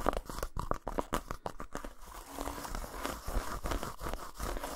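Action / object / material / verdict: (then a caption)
scrape / textured dark chocolate bar / chocolate / none. Fingertips and nails scratch and tap quickly over the surface of a solid, unwrapped dark chocolate bar with a dotted texture, resting on a towel. Rapid, dry clicks and short muffled taps come first, then a steadier rough scratching rasp with brief crisp crinkles. The sound is close and dull, with little bright content and no ring after each touch.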